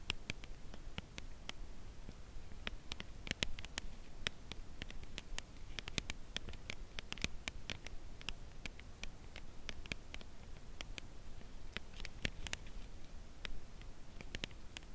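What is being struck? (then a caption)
Thin cardboard chocolate bar box. A Lindt Creation 70% Cacao Caramel bar in its flat, thin, closed printed cardboard sleeve, presumably with the bar still inside, is held on edge in both hands and tapped gently and slowly on its flat face with long press-on nails. Short, dry, bright clicks with no ring sound one after another over a steady low rumble, producing a soft, quiet, continuous patter.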